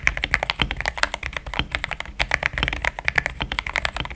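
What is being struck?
Mechanical keyboard with plastic keycaps.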